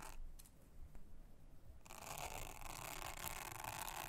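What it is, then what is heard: Silicone honeycomb trivet mat being brushed. A soft toothbrush is brushed across a thin, solid, round blue silicone honeycomb trivet mat. It opens with a faint low rumble and a few soft strokes, then shifts into a steady, bright, bristly scratching that continues to the end.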